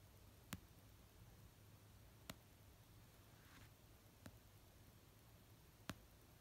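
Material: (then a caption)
Paper. Long nails tap the cover of an orange paperback novel resting on a blanket. Four sharp, isolated taps with quick decay are spread slowly across a quiet, low background hum. A faint soft brushing sound is heard between the second and third taps.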